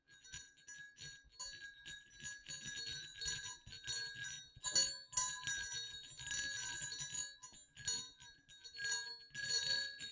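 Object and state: Small metal jingle bells.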